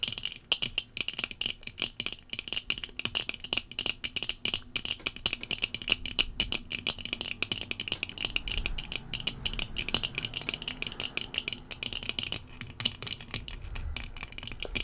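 Long fingernails of both hands tap the dark tinted lenses of rectangular sunglasses worn on the face. The result is a rapid, continuous stream of sharp, bright clicks that die away almost instantly, with little low end beneath them.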